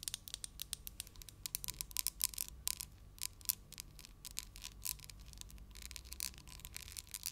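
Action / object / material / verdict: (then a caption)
tap / small glass candle jar filled with wax / glass / none. A small hollow glass jar filled with cream-colored wax, with a lid, is held in one hand and tapped with long acrylic nails. The result is a quick, irregular stream of sharp, bright clicks that die away almost instantly, over a faint low rumble and a thin steady tone.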